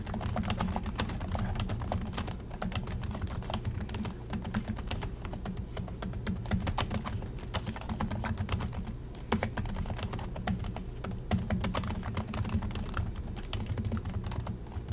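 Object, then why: Plastic laptop keyboard keys. Continuous fingertip typing with both hands on the low-profile plastic chiclet keys of a silver Acer laptop, producing a steady stream of quick, dry clicks. A low hum sits beneath the rapid taps, with brief bright clicks on top.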